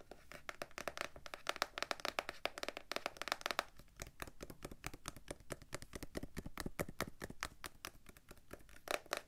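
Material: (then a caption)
Cardboard. Long dark-painted nails rapidly tap the front and sides of a small printed blue cardboard gift box, hollow and holding cards, held up in the air. The taps come as a dense, steady stream of quiet, dry, crisp clicks with a hollow papery knock and no ring after each one.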